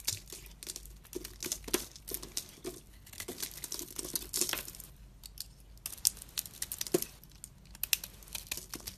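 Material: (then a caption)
Soap. A solid white bar of soap with remnants of a dark coating is held in the hand while a utility knife blade shaves and scrapes it into chunks. The result is a dense run of crisp, bright scraping and crumbly crinkling bursts with sharp clicks. Brief quieter gaps fall between strokes.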